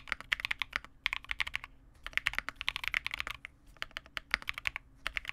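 Continuous two-handed fingertip typing on a Vega65, a small 65% mechanical keyboard with re-lubed Cobalt switches, white plastic keycaps and a dark case. Bright, crisp plastic clacks centred near 2 kHz come in rapid bursts separated by short pauses, each keystroke dying away almost instantly, with very little low end.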